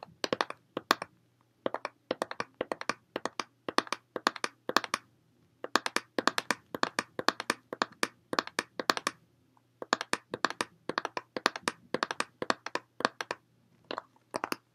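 A small, clear, ridged plastic water bottle, hollow with some water inside, is held upright and tapped rapidly on both sides with fingertips and nails. The result is bursts of quick, dry, crisp clicks with almost no ring, broken by short pauses, over a faint low steady hum.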